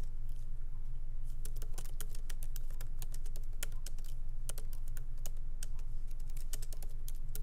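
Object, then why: Laptop keyboard with plastic keys in a metal body. Light fingertip typing with both hands on a MacBook Pro laptop keyboard, its small plastic keycaps set in an aluminum body, resting on a wooden desk. Quick, uneven, bright key clicks patter over a steady low hum.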